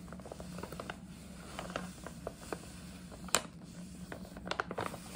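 Long nails tap and scratch the front and side panels of a hollow, printed paper gift bag, making short, dry clicks and papery scratching over a faint steady low hum. One sharper, brighter tap stands out near the middle, and a cluster of quicker taps comes near the end.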